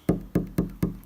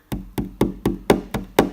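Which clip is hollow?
The second.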